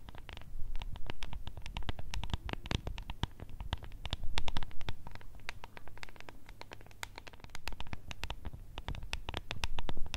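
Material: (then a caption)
Plastic. Long red nails rapidly tap and scratch a small, hollow, translucent plastic cup with blue contents and a decorated lid. The result is a dense patter of short, crisp clicks with bright edges over a steady low rumble, each tap dying away almost at once.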